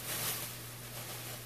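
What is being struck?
Nothing is struck.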